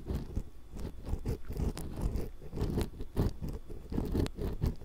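A thin metal ear pick, held in long-nailed fingers, scrapes across the metal mesh capsules of a small hollow X-Y stereo microphone. The result is close, crunchy scratching and rustling in quick, uneven bursts, heavy in the low end with faint brighter ticks on top.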